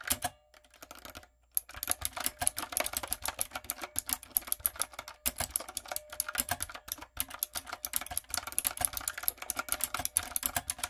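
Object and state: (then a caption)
Mechanical keyboard with plastic keycaps. A typewriter-style backlit mechanical keyboard with round brown plastic keycaps on a dark frame is typed on rapidly with fingertips and long coffin nails. Dense, bright, clicky key taps run almost continuously, with only brief pauses near the start and a few short gaps later.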